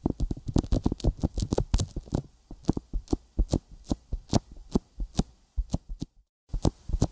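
Fingertips repeatedly tap a sticky silicone binaural microphone ear coated with petroleum jelly, producing short, dull, low-heavy thuds with faint wet clicks and a bright crackling edge. The taps come quickly and densely at first, then space out. The sound briefly drops to silence near the end before a few final taps.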